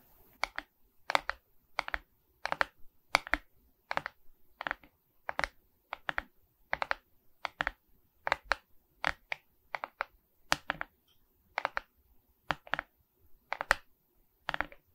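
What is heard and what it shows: Long red nails scratch across a Mickey Mouse diamond painting of resin rhinestone beads on a wooden-framed canvas held upright. Each stroke makes a short, dry, bright clatter of the beads, repeating in quick, irregular bursts with brief silences between them. The sound is crisp and has almost no low end or ring.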